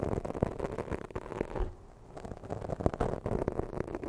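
Long fake nails scratch quickly up and down the sides of a soft, porous black foam microphone windscreen. The result is a dense, continuous scratchy rustle with a muffled, low-heavy tone, broken by brief louder scrapes. The scratching eases into a quieter lull just before the two-second mark, then picks back up.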